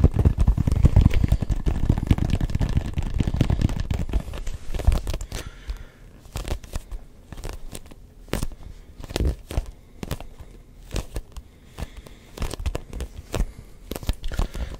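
Fingertips tap and scratch a neon yellow-green hollow rubber ball with a grooved surface. For about the first five seconds, dense, rustling scratches with a crackly, tearing texture fill the low end. The sound then thins into quieter, irregular, sharp taps with brief, dry clicks between pauses.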